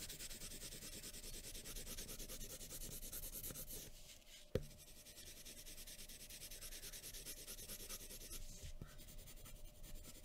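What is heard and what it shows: A graphite pencil tip scratches in short, dense strokes across a thin sheet of white drawing paper lying flat on a wooden table, shading hair while the hand rests on a folded paper sheet. The sound is a steady, bright, rapid scratching. It pauses briefly around the middle, where a single sharp tap is heard, and then continues as before.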